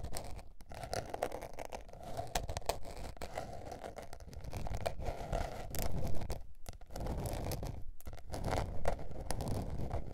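Long painted nails scratch across a small blue patterned spiral-bound notebook with a paper cover lying flat. The result is a steady, irregular run of dry scratching and rustling with a heavy low rumble, swelling louder in the second half before easing off.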